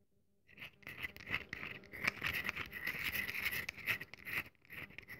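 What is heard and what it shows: A solid, rectangular, cream-colored bar of very dry soap is held in both hands and scratched and crumbled with long nails and fingertips, dropping soap crumbs onto the table. After a brief silence, a dense, irregular stream of crisp, dry scratching and crumbling begins, bright and concentrated around 2 kHz with little low end.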